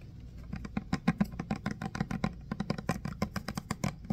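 A medium-sized clear plastic hand sanitizer pump bottle with a green pump, nearly full of green gel, is tapped and scratched on its sides and label with fingertips and short nails. A quick, uneven run of soft, dull taps with a low hollow body and faint bright clicky edges stops dead with no ring. Faint scratching fills the gaps at a quiet, close level.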